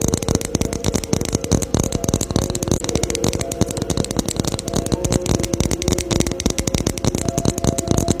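Fingers tap rapidly and continuously on a Christmas ornament ball, making a dense stream of short, dry clicks with almost no ring. Faint tonal traces sit in the low-mid range beneath the crackly, rattling texture.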